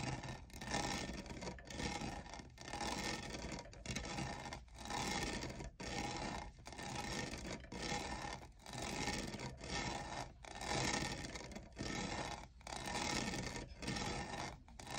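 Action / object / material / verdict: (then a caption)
scrape / textured plastic cold cup / plastic / none. Fingertips and nails scratch and rub the diamond-textured sides of a hollow, medium-size lavender iridescent plastic Starbucks cold cup with lid and straw. A dense, bright, rasping scrape sweeps back and forth in repeated strokes, roughly one per second, each separated by a brief dip in loudness.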